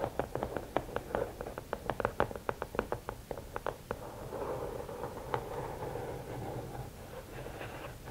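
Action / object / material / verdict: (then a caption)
tap / rigid cardboard gift box / cardboard / none. Long nails tap rapidly on the lid of a closed, hollow red and black rigid cardboard gift box, producing a string of short, dry knocks with a hollow mid-range tone. After about four seconds the tapping gives way to a steady scratching across the lid top, a softer continuous rasp with a few scattered taps.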